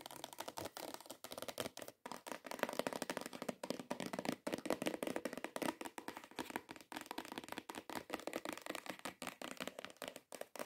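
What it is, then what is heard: Cardboard perfume gift box. Long acrylic nails rapidly tap and scratch on a long, hollow, cream-coloured cardboard perfume gift box. Dense, quick, dry taps with brief scratchy strokes sit mainly in the mid range around 590 Hz, with a hollow papery tone and almost no ring. The sound stays quiet and steady throughout, with only a few short pauses.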